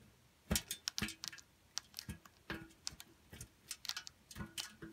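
A solid pink bar soap is grated against the holes of a stainless steel box grater, seen from inside, with pink soap curls pushing through and falling. Quiet, quick, irregular scraping and rubbing strokes sound bright and crisp with a faint low thump, each dying away almost at once.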